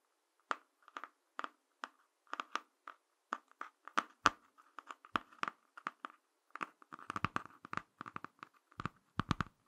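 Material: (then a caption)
Cardboard. Fingertips and short nails scratch and tap the laminated cardboard cover of a small, solid, closed Ladybird "Picture Dictionary" hardcover book, working on the back cover and then the front. A long series of quiet, dry, crisp scratches and taps follows, each dying out almost at once. The sound centers on a midrange rasp, with some deeper, thumpier taps toward the end.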